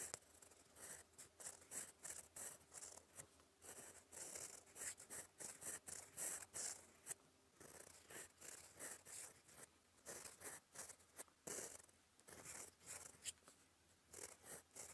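A gold fountain pen nib writes in black ink on a flat, lined cream paper sheet, scratching across it in cursive strokes. Quiet, bright, dry scratching comes in quick bursts with brief pauses, and the sound is mostly high-pitched with little low end.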